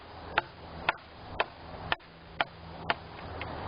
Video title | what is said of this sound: Maple Tree Tap Tones | the first branch off is also the same all the way along the length